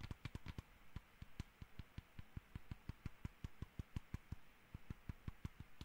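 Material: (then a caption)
Plastic. Fingertips and nails tap the top shell of a small, hollow black plastic computer mouse in a steady series of about 27 quick, quiet taps. Each tap is a dull, low hollow knock with a brief bright click on top that dies away almost instantly.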